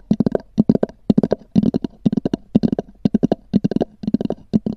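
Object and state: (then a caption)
Hollow hard-shell EVA case. Long nails tap and scratch on a small black oval hard-shell EVA zip case with a textured cover, its hollow shell giving each tap a short, dry knock centered low around 215 Hz. The taps come in quick clustered bursts of three to five, about two dozen in all, each dying away almost instantly with no ring.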